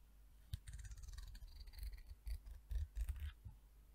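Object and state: Peach wood comb, scraped and flicked.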